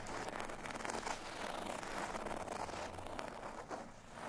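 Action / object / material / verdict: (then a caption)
scrape / folded paper cardstock tag / cardstock / none. A folded cardstock bottle tag lies flat on a surface and is scratched with the fingernails of both index fingers. The result is a steady, dense, crackly scratching with a dry rustle centered in the mids and bright grainy edges, dipping briefly near the end.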